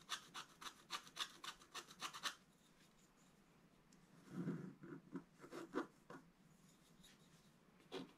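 A wooden stylus scratches near the right edge of a flat, black-coated scratch art card, making sixteen short, dry rasping strokes. The first two seconds bring a quick run of bright, hissy scratches, followed by a quiet pause. A cluster of lower, fuller scrapes comes around the middle, and a single last stroke follows near the end.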